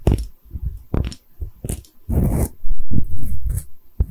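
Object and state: Porcelain liquor bottle.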